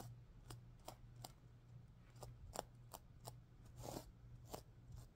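Fingers and nails brush and scratch across the reversible plastic sequins of a stuffed heart-shaped pillow, flipping them from pink to green. Eight short, crisp scratchy flicks stand out over a steady low hum, each dying away almost instantly.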